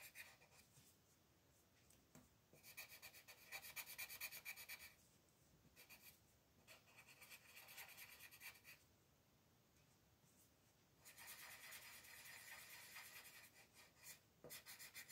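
A colored pencil scratches over small areas at the top edge of a thin paper mandala coloring page lying on a table while the other hand holds the sheet. Quiet, bright, dry rasping strokes come in rapid bursts, with louder stretches of dense scratching alternating with softer, lighter passages.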